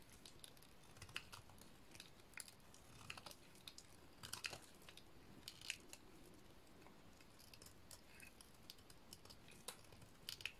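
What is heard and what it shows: A small remaining piece of a dry, painted red soap bar is held between fingers and shaved with a metal blade. The result is quiet, crisp, scratchy scraping with many short, bright clicks and crackles over a soft low rumble.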